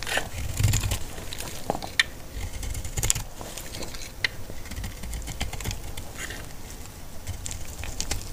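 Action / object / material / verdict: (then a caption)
scrape / bar of soap cut with a metal blade / soap / none. A solid, dry pink bar of antibacterial laundry soap is held in the hand and shaved with a metal utility blade, producing crisp, dry curls. A steady, crackly scraping and cutting sound with bright texture and a low rumble underneath runs throughout, with a few sharper clicks standing out along the way.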